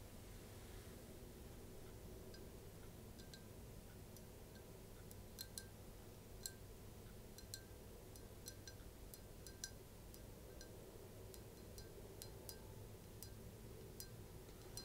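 Long painted nails tap the bowl of a glass champagne flute partly filled with champagne. Quiet, short, bright clinks come at an irregular pace, each dying away almost at once over a steady low background hum.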